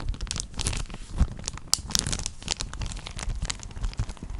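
Long nails scratch and crinkle a thin clear plastic packaging sleeve holding a flat white card printed with a dinosaur drawing. The result is a steady stream of crackly, tearing-like crinkles with sharp, bright snaps, over a low, muffled rumble from the handling.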